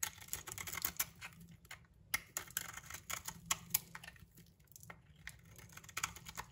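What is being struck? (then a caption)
Soap bar scraped with a metal blade. A solid, palm-sized, cream-white soap bar held in the hand is scraped and shaved with a metal utility knife blade, producing crumbly shavings. Rapid, dry, crisp scratches and clicks come in quick uneven bursts, bright and high with almost no low end and no ring after each stroke.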